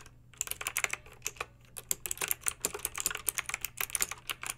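Long pink acrylic nails type on a plastic mechanical keyboard with backlit round plastic keycaps. Bright, sharp, clacky key clicks come in a quick, uneven stream after a brief quiet start, over a faint steady low hum.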